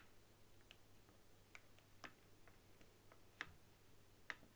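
A white hollow plastic game controller resting on a table is tapped with long nails across its top face. Quiet, short, irregular clicks sound with a bright, dry tick, over a low steady hum. Eight taps stand out, and the sharpest ones come near the end.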